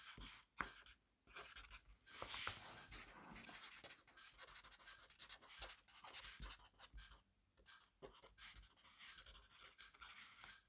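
A black pen writes quickly and continuously on a grid-paper notebook page resting on a desk. The sound is a dry, bright scratching of pen on paper in rapid bursts, with short strokes and brief pauses between them and very little low end.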